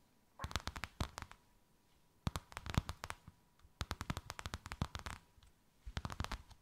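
Long white acrylic nails tap and scratch a thin white faux-leather sheet with a snakeskin emboss, draped over something rounded. Four bursts of quick, dry clicks come in rapid runs, each tap with a soft low thump and a bright crackle that stops almost instantly. A faint steady tone sits underneath.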